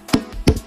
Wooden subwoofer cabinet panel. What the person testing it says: Cái ván này nó rất là cứng này